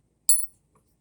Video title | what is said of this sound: Saturday previews, Barber and Silver under melt. | that rang nicely 90% silver has a really nice ring to it